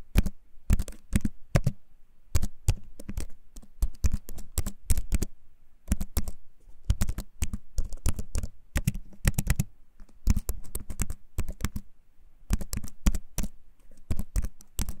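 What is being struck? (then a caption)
Plastic-key keyboard in a wooden frame. A compact keyboard with a wooden frame and plastic keys is held up near the mic and typed on with fingertips. The clicky keycaps give quick, dry clicks in irregular bursts with brief pauses, with a heavy low thump under a bright tick. Each click dies away almost at once.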